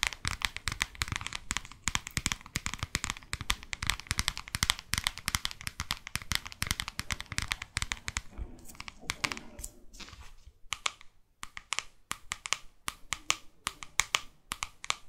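Long fake nails tap and scratch the glossy front cover of a New York paperback guidebook. The result is a dense run of sharp, bright clicks and crinkly scratching that thins into sparser, spaced taps in the last few seconds.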